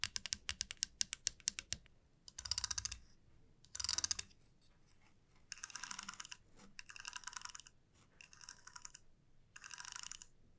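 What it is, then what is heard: Wooden comb. Long nails and fingertips tap and scratch a flat, solid, light-wood wide-tooth comb lying on a felt mat. A quick run of sharp, separate clicking taps is followed by six bursts of bright, rapid raking across the teeth, with short quiet gaps between them.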